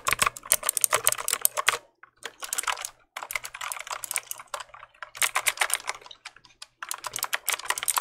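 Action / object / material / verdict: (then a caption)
tap / plastic mechanical keyboard / plastic / none. A black plastic mechanical keyboard, held upright beside the mic, has its keys clicked with the fingertips. Rapid, bright, dry clicks come in dense bursts separated by brief silent pauses, each click stopping instantly with no ring.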